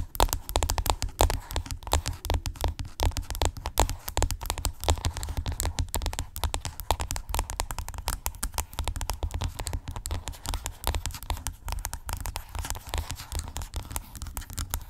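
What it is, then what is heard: Plastic skincare tube. Long pink acrylic nails tap and scratch rapidly across the surface of a hollow white plastic skincare tube lying flat. The result is a dense, continuous stream of short, sharp clicks and crackly scratches. A steady low hum sits underneath throughout.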